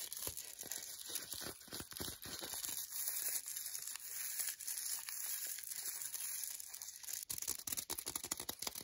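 Long nails scratch and tap quickly across the front and back of a green paper-wrapped milk chocolate bar held in a hand. The sound is a dense, bright, crinkly rasp of paper scratching, broken by crisp dry taps that grow more spaced out near the end. There is almost no low end and no ring after each tap.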